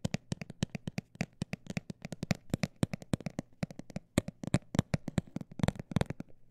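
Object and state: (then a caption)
Textured cosmetic bag tapped. A textured cosmetic bag is tapped rapidly with short, dry, crinkly taps, about 44 in quick, slightly uneven succession. Each tap is brief with a soft low body and a crisp bright edge, dying away almost instantly.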